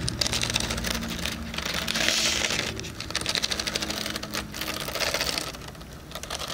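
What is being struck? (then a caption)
Cardboard planner cover with metal spiral. Fingernails rapidly tap the back cover of a hardcover cardboard planner with a metal spiral, right next to a microphone ear. A dense stream of bright, dry clicking taps comes in quick flurries, each tap ending almost instantly with no ring. There is a slightly busier, hissier stretch around the middle.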